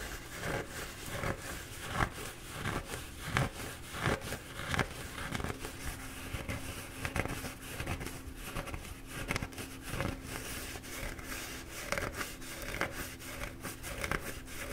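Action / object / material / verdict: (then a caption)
scrape / paper towel roll / paper / none. Fingertips scratch and squeeze the soft paper of a slightly squashed, bee-printed paper towel roll held in both hands. Quiet, dry scratching and crinkling bursts repeat at an uneven pace, with a faint steady low hum underneath.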